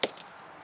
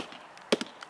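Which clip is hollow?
The second.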